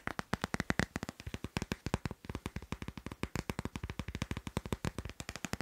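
A glossy, teal-patterned hard plastic phone case on a phone is held in the hand and tapped quickly with fingertips and nails. About 49 short, dry, clicky taps come in a rapid, uneven stream, each with a low thud and a bright click that die away almost instantly.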